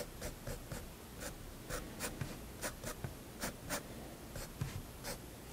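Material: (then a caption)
Paper. A fineliner pen tip strokes and hatches across the page of a large spiral-bound paper sketchbook lying flat on a wooden desk. Quick, bright scratching strokes repeat in short bursts over a soft, low background hum.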